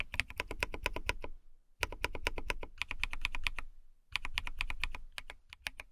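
Long nails type on a compact white plastic mechanical keyboard with a cat-shaped case. Three quick bursts of sharp, clicky key taps are heard, separated by two short pauses. Each tap is bright and dry, with a clacky tone around 2.5 kHz and a soft low thud beneath.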